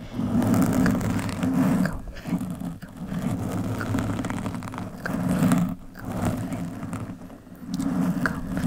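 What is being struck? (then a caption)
Foam microphone windscreen. Long metallic nails scratch and rub the surface of a soft, porous black foam windscreen on a microphone with both hands. The sound is a close, muffled rumbling scrape, heavy in the low range with almost no brightness, swelling and fading in waves with brief dips between strokes.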